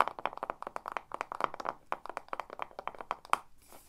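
Long nails tap quickly and rhythmically on the side and top of a pink Ava & May glass candle jar full of solid wax, with its lid on. There are over twenty short, dry clicks centered around 1 kHz with almost no ring, and a faint bright hiss lingers at the end.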